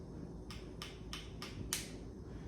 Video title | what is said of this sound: How to Make Chopped Egg Salad | did you hear that little crack that was not the shell cracking that was the inside membrane cracking